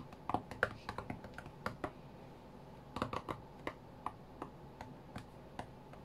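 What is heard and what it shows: Fingertips of both hands tap the glass touchscreen of an iPad lying flat on a cutting mat, giving about 18 quick, dry, quiet taps. Each tap is a sharp tick with a mid-pitched click and almost no ring, spaced unevenly over a low, steady background hush.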